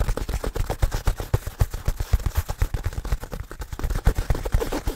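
Fingertips scratch, rub and handle a soft, hollow black nylon fabric bag held close to the mic. The result is a rapid, steady run of short, dull, low thumps with faint fabric rustle between them.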